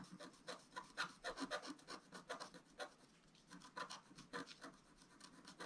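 A wooden stylus scratches across a flat, black-coated scratch-art paper sheet in a rapid, irregular series of short strokes. Each stroke is a dry, raspy scrape with a bright, papery hiss, almost no low end and no ring after it stops.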